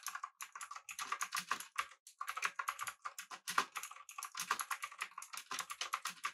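Fingertips of both hands type rapidly on a full-size, backlit, typewriter-style mechanical keyboard with blue switches, an aluminum body and round plastic keycaps. The result is a fast, steady stream of sharp, bright clicks centered around 1 kHz, each dying away almost instantly, with brief pauses near 2 and 4 seconds.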